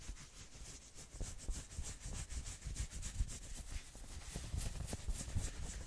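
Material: Knit fabric.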